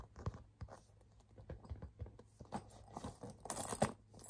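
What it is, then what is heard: Pebbled leather handbag. Fingertips and nails tap and scratch the flat front panel of a small, hollow burgundy pebbled-leather crossbody bag held in hand. The result is a quiet series of soft, dull taps with short crackly scratches and brief bright rustles, the loudest coming near the end.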